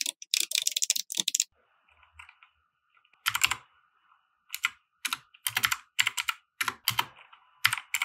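Fingertips type on a compact 60% mechanical keyboard with white plastic keycaps and RGB lighting, resting on a felt desk mat. Rapid bursts of bright, crisp key clacks come in quick runs, with a quiet pause in the middle where only a faint, thin tone lingers, before the typing resumes in short bursts.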